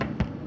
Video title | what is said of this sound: Joe and I Compete in Making Bun | that's how you know it's cooked inside it's not going to be like a raw bread on the inside